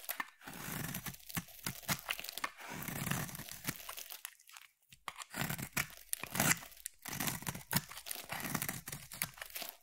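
A utility knife blade carves thin curls from a hand-sized, oval, solid white bar of soap. Repeated dry, crinkly scraping strokes come in short bursts with brief pauses, bright and papery in tone. Each stroke stops dead with no ring.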